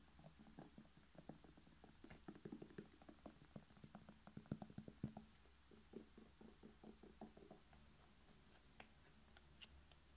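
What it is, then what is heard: Red bell pepper tapped. A whole red bell pepper, hollow with a firm glossy skin, is held in one hand and tapped quickly by the fingertips of the other. The result is a quiet patter of soft, dry, low hollow taps that stop short with no ring over a faint steady low hum. The tapping grows busiest in the middle and thins out toward the end.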